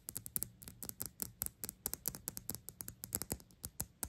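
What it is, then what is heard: Glass perfume bottle. A dark black glass Gucci perfume bottle, held in the hand, is tapped rapidly on its sides with long acrylic nails. About 27 quick, sharp clicks with a bright high glassy tick sound in an uneven fast rhythm, each dying away almost instantly.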